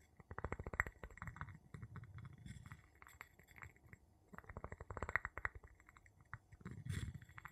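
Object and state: Glass jar.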